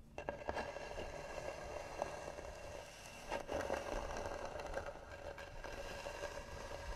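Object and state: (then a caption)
Carved varnished wooden box. Fingernails scratch slowly and hard across the hollow, carved, varnished lid of a wooden box. The result is a continuous gritty scrape with a steady resonant tone near 570 Hz, broken by brief louder catches as the nails cross the carving.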